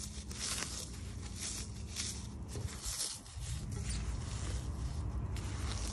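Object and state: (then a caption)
Crushed floral foam block. A light, porous block of brown phenolic floral foam coated in grey-white powder is crushed and crumbled between bare fingers and palms over a ceramic plate. This makes a steady, dense crunching and crackling with a strong low rumble and bright, gritty texture, easing briefly near the middle before resuming. Crumbs and dust fall onto the plate, possibly adding faint contact sounds.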